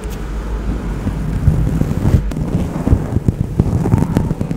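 Fingertips and nails scratch and rub a large grey fluffy faux-fur windscreen covering a microphone. The result is a dense, muffled, low rumbling rustle with soft irregular thumps and scratchy bursts, and almost no high or bright content.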